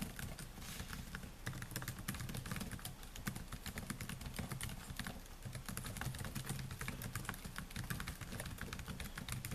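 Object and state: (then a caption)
Laptop keyboard with plastic keys. Fingertips type steadily on the black plastic keys of a solid silver laptop, giving a dense stream of quick, bright clicks and taps for the whole clip. A low, steady hum sits underneath the clicking.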